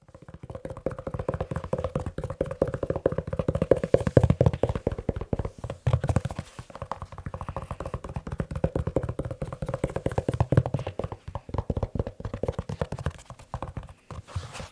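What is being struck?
Leather shoe.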